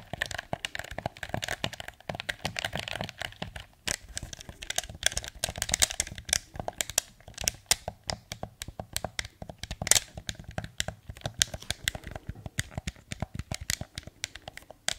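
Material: Plastic.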